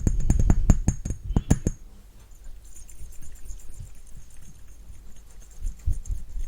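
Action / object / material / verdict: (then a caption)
tap / glass perfume bottle / glass / none. Fingertips tap rapidly on a glass Narciso Rodriguez Musk Noir perfume bottle, giving a quick series of short, dull knocks with a faint bright glassy ring for under two seconds. The tapping then fades into quieter, softer low taps and light handling until the end.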